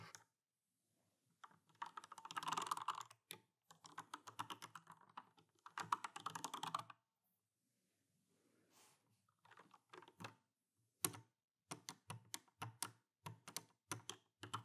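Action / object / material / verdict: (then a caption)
tap / mechanical keyboard with plastic keycaps / plastic / none. Fingertips with medium painted nails type on a full-size RGB-backlit Alienware AW410K mechanical keyboard with Cherry MX Brown switches, plastic keycaps and a metal top plate, while loose keycaps lie untouched on the desk. Dense bursts of rapid, dry clicky-clacky typing give way after a short pause to slower, separate sharp taps with a bright click and a slight low thock.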